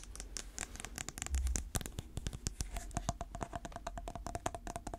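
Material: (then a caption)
Plastic. Natural fingernails tap and scratch the lid and sides of a small round clear plastic container filled with purple slime, held in the hand. The result is a rapid run of sharp, dry clicks with brief scratchy strokes and a faint hollow plastic ring, over a low, steady background rumble.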